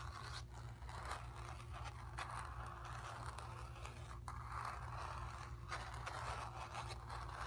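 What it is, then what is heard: Painted cotton canvas. Long nails scratch the lower painted area and edge of a stretched, painted cotton canvas. A steady, quiet scraping texture runs through the whole clip, with brief brighter strokes over a constant low hum.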